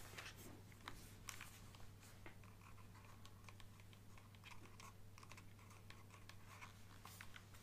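Fingernails tap and scratch the back and sides of a black plastic Nintendo Switch handheld console with green Joy-Cons attached. Quick, light clicks and scratchy strokes with a bright edge come in a dense, irregular stream over a steady low hum.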